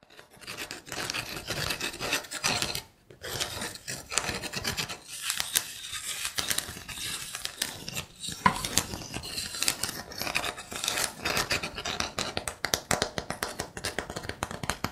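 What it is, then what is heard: Wooden trivet. Fingertips and nails tap and scratch the tops of a solid, flat wooden trivet made of linked rounded wooden blocks. The sound is a dense, bright, dry rasping scratch mixed with quick short taps, pausing briefly near the three-second mark. It carries little low end and stays continuous to the end.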